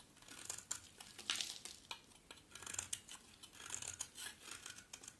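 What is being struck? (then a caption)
Bar of soap. A utility knife blade scrapes across the surface and edge of a solid white dry bar of soap held in the hand. The result is a quiet series of crisp, bright, dry scraping and shaving strokes with faint crackle and almost no low end.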